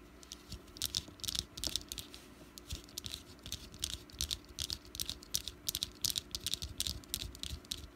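Long black-painted nails tap and scratch a small solid orange wax jack-o'-lantern candle with a green top and wick, resting on a dark mat. Quick, dry, bright clicks and scratchy rasps come in uneven bursts, each dying away almost instantly with no ring.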